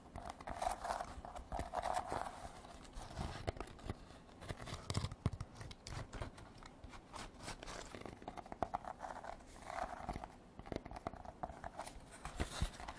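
A woven rattan basket is tapped and scratched with artificial nails. Quick, dry clicks and taps mix with scratchy rustling across the weave, with a low woody thump under the midrange scraping. Each sound stops at once with no ring, giving a steady, crackly texture.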